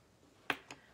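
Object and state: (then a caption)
Hollow cardboard egg. Two short, dry taps on a large hollow cardboard craft egg, painted white so the white napkin it will be decoupaged with won't show through, land about 0.2 s apart. The first is louder, and both are bright clicks that die away almost at once. The egg sounds hollow, as expected for a cardboard egg that is hollow inside.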